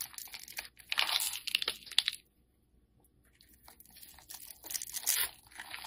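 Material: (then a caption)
Soap. A solid, rectangular black soap bar held in hand has its surface scored into cubes and scraped off with a metal blade, crumbling. Bright, dry scraping and crunching crackles come in dense bursts, with a near-silent pause in the middle before the scraping resumes.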